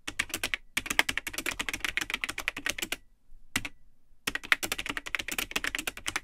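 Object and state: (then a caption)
Plastic computer keyboard being typed on. Fingertips type continuously on the hollow plastic keyboard of a vintage Tandy 1000 HX, an all-in-one computer with a built-in keyboard, a cream plastic case and yellowed plastic keycaps. The result is rapid, bright, clacky keystrokes with almost no ring. The typing stops briefly near the start, then goes quiet for about a second with one lone keystroke before resuming.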